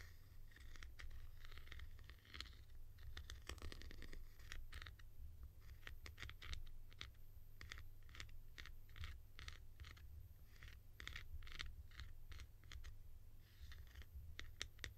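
Long nails tap and scratch across the textured top of a tall, hollow blue plastic cap, making quiet, rapid, bright clicks and scratchy rasps. The sharp ticks stop almost instantly over a steady low hum.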